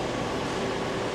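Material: Nothing is struck.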